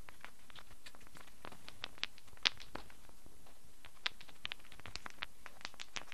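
A handful of small solid wooden cubes is held in cupped hands and shaken so they clatter together. Irregular, sparse, dry clicks and taps with very short ring, peaking around 3.5 kHz, rise over a quiet, low background hum, with a few sharper knocks standing out.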